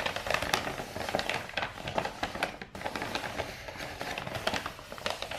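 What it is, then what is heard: Rolled kraft wrapping paper. Long nails scratch and tap the surface of a hollow roll of brown kraft wrapping paper with a star print, held diagonally. The result is a steady run of dry, crackly scratches mixed with quick, light taps that are bright and papery, with little low end.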